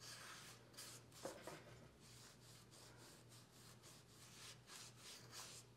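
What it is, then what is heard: Wooden cooking spoon. A folded oiled cloth held between the fingers rubs the bowl and handle of a long, solid wooden cooking spoon lying flat on a fabric mat. Soft, breathy rubbing strokes with bright hiss repeat throughout over a faint steady low hum, and one sharper knock stands out early on.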